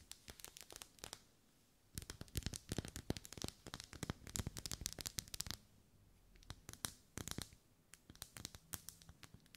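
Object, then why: Ribbed wax pillar candle. Long nails scratch and tap along the vertical ribs of a lit, hand-held pink pillar candle of solid wax. Quick, irregular bursts of crisp, bright clicks and scratchy rasps come in clusters, separated by short quiet pauses. Each tap is dry and dies away almost instantly.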